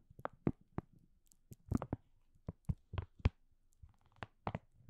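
Fingertips and nails scratch and crinkle the top edge of a green and white printed plastic food packaging bag that is hollow and apparently filled. The result is a quiet series of short, dry crinkles and crunches, each dying away almost at once, with most of their energy low and a few brighter rustling edges. The crinkles come in uneven clusters separated by near silence.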